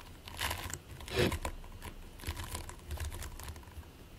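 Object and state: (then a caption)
Play foam (polystyrene microbeads). Short-nailed fingertips press, squish and scratch into a flattened mound of purple and white polystyrene-microbead play foam on a white plate. The result is a run of crackly, sticky crinkling with bright, quick snaps over a low rumble, loudest in a burst just past one second.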